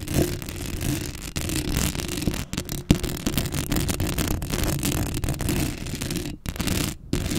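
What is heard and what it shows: Long acrylic nails scratch across a black metal mesh microphone head, producing a dense, continuous raspy scraping with a heavy low rumble beneath. The texture holds steady for most of the clip, broken by a few brief dropouts near the end.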